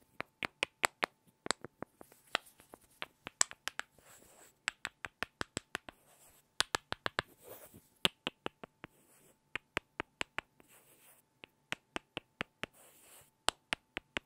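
Two small solid light-wood blocks are knocked and rubbed together by hand. Around forty sharp, dry, bright clicks come in quick irregular runs, with no ring, separated by brief soft scratchy rubbing sounds.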